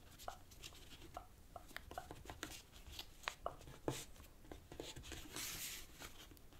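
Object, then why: Thin origami paper sheet. A fingertip presses and scratches along the folds of a thin light-green origami paper strip, creasing it on a black cloth table. Quiet, dry crackles and sharp little paper ticks come in a steady series. A brighter, hissing rustle swells briefly near the end.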